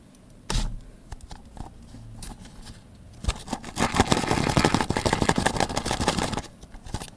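An empty blue Mini Oreo cup, a hand-sized tub of hollow thin plastic with a paper label, is held in one hand while fingertips and nails rub and scratch along its rim and sides. After a sharp tap near the start and a stretch of light, sparse scratching, the nails break into dense, rapid, bright scratching and crinkling with a hollow plastic body. It then thins out toward the end.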